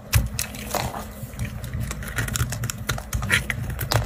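A knife blade scrapes and carves thin, brittle shavings from a round, solid white bar of dry soap held in a hand. Quick, dry scraping crackles and crisp ticks repeat over a low rumble, with bright clicks standing out.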